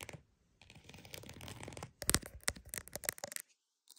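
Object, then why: Croc-embossed purse. A croc-embossed purse is scratched with a steady, dry rasping texture for over a second. This gives way to a run of sharp, bright taps with short gaps between them, and quick clicks close the clip.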